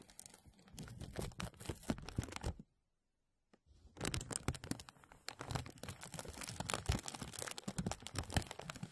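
Hands rub and press a thin translucent plastic bag stretched over a mesh microphone, producing dense, close crinkling and crackling with bright snaps over a heavy low rumble from the film brushing the mic. The crinkles stop for about a second near the three-second mark, then resume louder and more continuous to the end.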